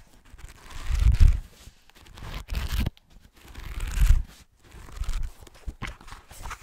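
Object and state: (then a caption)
Hardcover book page edges scratched. Short nails scratch the paper page-block edges of a thick green hardcover book held on its side. The result is a series of rough, papery rasping swells with a low rumble underneath, rising and fading in uneven strokes separated by brief pauses.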